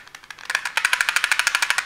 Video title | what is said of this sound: Présentation de l'US Army AC-6019 Plastic Training Knife (AIRSOFTPEAK) | Quand on secoue, on entend un petit peu de bruit. Donc quelque chose qui ne doit pas être bien fixé.